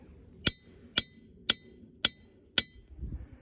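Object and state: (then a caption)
Ringing diabase boulder. A steel hammer with a wooden handle taps an elongated, solid grey diabase boulder wedged among rocks at Ringing Rocks Park in Pottstown, PA. Five evenly spaced strikes each give a bright, bell-like ring centered around 3.4 kHz that fades quickly. A low rumble follows the last hit.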